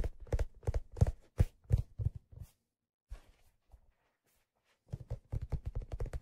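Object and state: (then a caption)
Leather fedora hat tapped. Fingertips tap the smooth, stitched leather crown of a hollow, empty black leather fedora that is turned and held in the hand. Quick bursts of soft, dull, low thuds with no ring run for about two and a half seconds, give way to a near-silent pause with only a few faint touches, then resume in a steady patter to the end.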